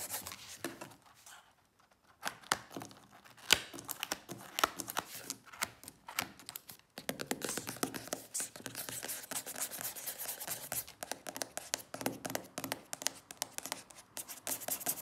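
Long fake nails tap and scratch the glossy paper cover of a large paperback ukulele songbook lying flat. Quiet, bright, clicky taps and dry scratches come in quick bursts, with brief near-silent pauses early on, then grow denser and more continuous.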